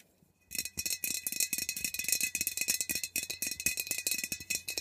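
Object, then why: Metal aerosol can. Long nails rapidly tap and scratch the sides of a metal aerosol air freshener can, which is held upright and then turned. After a brief quiet start, a dense stream of quick, bright, metallic clicks and scrapes runs to the end, with each tap dying away almost at once and little low end.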